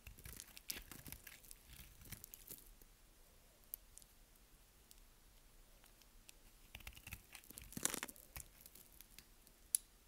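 A partly carved solid purple bar of dry soap, held upright in the hands, is scraped and cut with a metal blade over a pile of colorful soap shavings. Quiet, dry, crunchy scraping and crinkling textures come in bright bursts with sharp flicks of high hiss. A louder crunch lands near the end.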